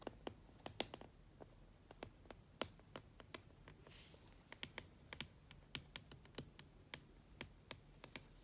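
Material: Plastic.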